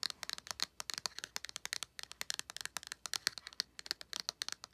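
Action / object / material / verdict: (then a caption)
tap / small flat cardboard palette / cardboard / none. Long nails tap and scratch the printed back of a small, flat cardboard eyeshadow palette held in the hand. Fast, dry, clicky taps with light scratching fill the clip, each one crisp and bright with almost no ring. The sound is quiet and has no low end.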